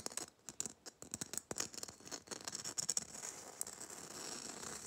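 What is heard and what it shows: Long nails tap and scratch the gritty surface of a small, hollow Christmas bauble with a coarse red glitter coating. Quick, dry, bright clicks come first, then settle into a continuous high, sandy scratching with almost no low end or ring.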